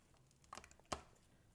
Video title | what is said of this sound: Tonight is Pizza Night!! | You can hear how crunchy it is.